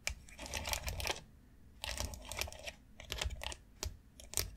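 Long acrylic nails tap fast on the rounded nubs of a long white hollow molded plastic foot massage board. They make bursts of crisp, bright clicking with short pauses between them. Each tap dies away quickly over a low, soft hollow thump.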